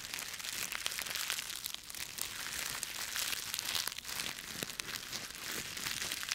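A bundle of dry autumn leaves with stems is squeezed and crushed in both fists. The result is a dense, continuous run of bright, crisp crackling and crunching with almost no low end, with sharper snaps poking out of the rustle throughout.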